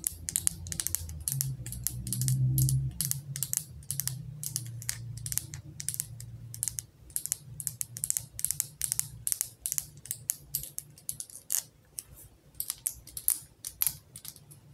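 Long acrylic nails tap rapidly on a medium glass jar candle full of orange wax, with a paper label and a gold metal lid, held in one hand. The taps are short, bright, dry clicks in a fast, uneven rhythm with no ring. A low hum sits underneath during the first half.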